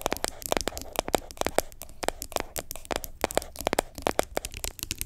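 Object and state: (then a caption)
Plastic scrub jar. Long nails tap and scratch the side of an orange plastic lid and the body of a medium yellow plastic sugar scrub jar that appears full. A rapid run of sharp, dry clicks and brief scrapes follows, each sound ending almost at once. The taps have a hollow, plasticky mid-range tone.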